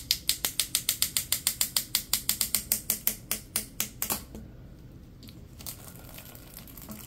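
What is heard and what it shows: Latex-gloved hands pull and bend a hollow, yellow, ribbed corrugated plastic tube, making 26 sharp, bright ratchet-like clicks in a fast, steady run over about four seconds. The clicking then stops, leaving a faint, soft rustle.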